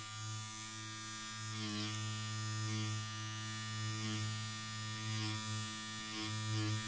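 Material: Nothing is struck.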